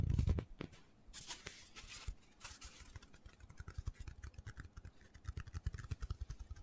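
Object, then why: Hand-sized foam cylinder. A hand-sized black foam cylinder, held horizontally and then upright, is tapped and scratched quickly with fingertips and nails. A low thump opens the clip, then bright, airy scratching bursts give way to a rapid run of soft, dull taps.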